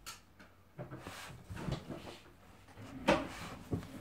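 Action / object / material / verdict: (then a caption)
tap / hardcover book with glossy paper cover / cardboard, paper / none. Long painted nails and fingertips tap rapidly, like typing, on a large, solid, closed hardcover book with a glossy printed cover lying flat on a table. The result is a quiet run of soft, dull knocks mixed with light, bright clicks from the nails. One sharper, louder tap stands out near the end.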